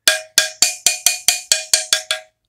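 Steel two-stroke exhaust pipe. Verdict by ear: Clean.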